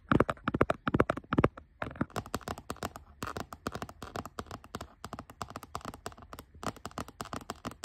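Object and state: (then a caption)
Textured plastic laptop lid. Fingertips and nails tap near the edge of a grey textured plastic laptop lid resting on a fabric seat. The result is a rapid, irregular stream of short, dry, clicky taps, with louder, fuller knocks at the start and lighter, brighter clicks after.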